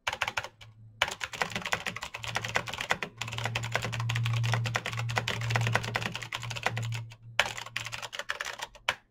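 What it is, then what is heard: Plastic mechanical keyboard. Fingertips type fast on a black Razer BlackWidow mechanical keyboard with plastic keycaps on clicky green switches, producing a dense stream of sharp, bright clicks with brief pauses. A steady low hum sits beneath the typing, swelling louder through the middle of the clip.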